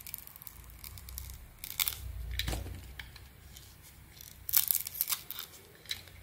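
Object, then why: Bar of soap. A small metal blade scrapes and carves shavings from a solid, hand-sized bar of soap, light blue on the outside with brown spots and white inside, held in one hand. Dry, crisp scraping and crunching strokes come in bright bursts over a faint low hum, with the loudest cuts near the middle and toward the end.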